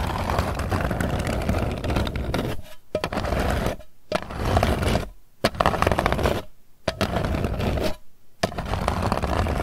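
Long nails scratch the lid of a round, hollow Hershey's Kisses metal candy tin, which is then held up. Dense, gritty scraping with a faint metallic ring fills the clip, heavy in the low end. It breaks off into brief near-silent pauses between bursts.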